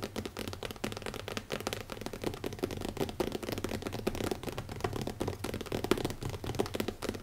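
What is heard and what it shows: Fingertips of both hands tap rapidly on the cover of a small, closed black leather-covered hardcover notebook with an elastic band, resting on a wooden table. The sound is a dense, continuous stream of soft, dull taps with short, dry decays and a low-mid thump.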